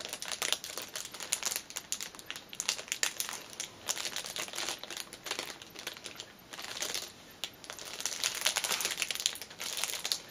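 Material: Cellophane.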